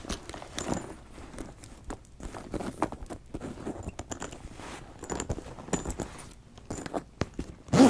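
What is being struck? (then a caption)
Leather backpack. Fingers open and close the zipper on a brown leather backpack with gold rings, then tap and scratch its leather surface with long nails. The result is quiet, irregular soft taps, rasping zipper pulls and dry scratching, with brief bright clicks and a louder burst at the very end.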